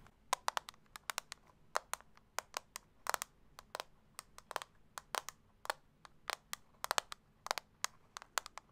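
A small, round, hollow clear plastic setting-powder compact is held in one hand and tapped and scratched with long acrylic nails. Sharp, bright, dry clicks come in irregular quick bursts and die away almost instantly, with faint scratching between them.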